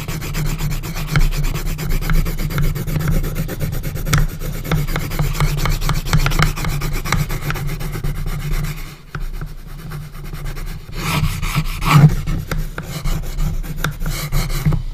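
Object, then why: Pencil on a small wooden box lid. A pencil tip scratches quick hatching strokes across the wooden lid of a small hinged, coffin-shaped wooden box, making a dense, steady rasping rub with a heavy low hum underneath. The scratching softens briefly around the ninth second, then returns in brighter, sharper strokes.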